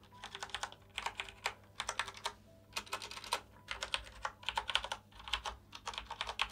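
Fingertips in green rubber gloves press and tap keys across a full-size black plastic mechanical keyboard with its keycaps on, lying flat on a white table, with some hand sweeping over the surface. Quick, bright plastic clacks come in rapid bursts separated by short pauses, each tap dry and clipped with almost no ring.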